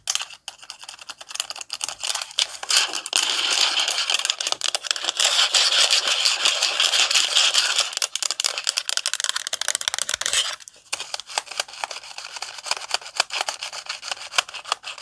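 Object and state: Plastic instant camera.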